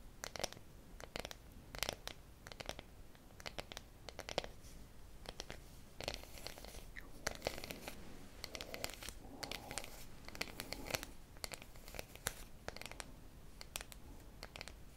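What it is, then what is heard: Dark chocolate bar. A solid, apparently unwrapped dark chocolate bar with segmented squares is held in both hands close to the microphone and scratched and tapped with long manicured nails. Quiet, dry scratching runs throughout, punctuated by many sharp, bright clicks and taps that stop instantly with no ring.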